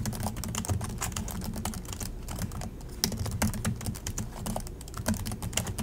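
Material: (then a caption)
Plastic. Both hands type continuously with their fingertips on the plastic chiclet keys of an Acer laptop keyboard. A steady stream of quick, dry tapping clicks with bright edges over a low thud. The typing eases briefly around the middle before picking back up.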